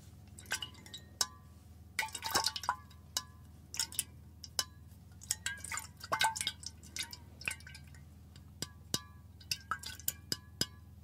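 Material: Stainless steel.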